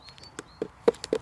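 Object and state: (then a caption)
Hollow-sounding piece of wood. Knuckle-style taps on a fallen, moss-covered piece of wood picked up in a garden outdoors give a quick series of short, dry knocks centred in the low-mid range that die away almost instantly. A faint, thin high tone sits in the background early on, and the wood sounds hollow.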